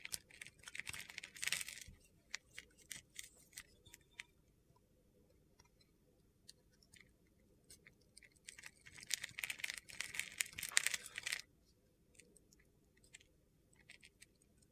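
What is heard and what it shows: A box-cutter blade shaves and cuts crunchy slivers off a solid white soap bar with a silver glitter crust, held in hand. Bright, gritty scraping and crackling comes in two dense bursts, with scattered sharp ticks and quiet gaps between them.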